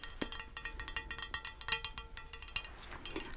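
A painted St. Jean de Bretagne ceramic decorative plate is tapped repeatedly, producing a quick, irregular run of bright, high-pitched clinks. Each hit rings briefly and fades fast.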